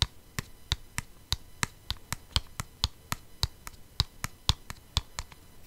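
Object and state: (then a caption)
Plastic CD case tapped with nails. Long painted nails tap a flat, hollow plastic CD jewel case with a printed insert, held in the hand. About 20 short, sharp, clicky taps come in a loose, steady rhythm, each with a bright edge over a soft low thump. They stop almost instantly, with no ring.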